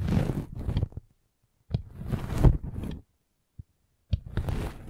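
A metal-spiked derma roller is rolled over a red velvet bag covering a microphone. It makes soft, low, rumbling scrapes in several bursts, separated by short silences and one brief tap. The sound is muffled and dark, with little high-end content.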